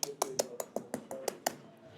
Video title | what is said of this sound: Is This REALLY A PIE? I Review MAD O'ROURKES PIE FACTORY | we're going to see how crispy that is. Can you hear that? Lovely crispy puff pastry top to the pie.